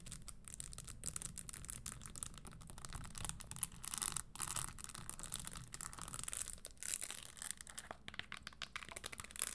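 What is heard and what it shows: Long green nails tap and scratch across a single red Christian Louboutin pointed-toe pump held in both hands, moving over its spike-studded leather upper and tan leather insole; the shoe is hollow and empty. The result is quiet, dense, rapid ticking and scraping with a bright, hissy edge over a steady low rumble, and each tap dies away almost instantly.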